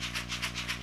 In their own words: You hear those beads? Those are actually pellets of ammonium chloride.